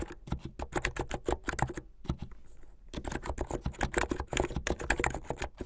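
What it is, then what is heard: Plastic mechanical keyboard. Fast typing on a plastic mechanical keyboard with white and blue plastic keycaps and a blue case. Rapid, clacky keystrokes with a deep thock and short bright clicks run in a steady stream, broken by a brief pause near the middle before resuming.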